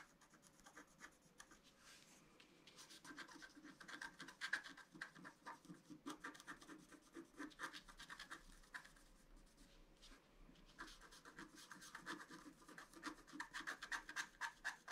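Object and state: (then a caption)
Scratch-art card being scratched. A pointed wooden stylus scratches a flat A4-size scratch-art card, black coating over a colored foil layer, lying on a table. Many quick, dry scratching strokes come in uneven bursts, with a bright, papery rasp and busier passages near the middle and end.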